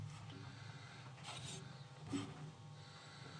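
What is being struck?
Nothing is struck.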